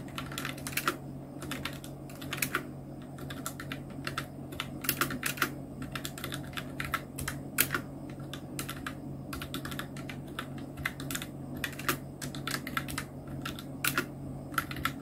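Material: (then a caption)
Plastic. Continuous two-handed fingertip typing on a full-size black Nubwo Illution NK-70 plastic mechanical keyboard with Outemu Red switches, round plastic keycaps and blue backlight. Quick, sharp clicky key strikes with bright, snappy tops rise over a steady low hum in an irregular, unbroken rhythm.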